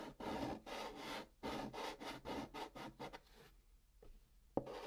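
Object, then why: Chalk on a cardboard box top. Fingertips hold a stick of pink chalk and scratch and rub short strokes across the flat top of a large brown kraft cardboard box, filling in a drawn pattern. The dry, gritty strokes come in bursts with brief pauses and fade to faint rubbing near the end. A sharp tap cuts in just before the scratching resumes.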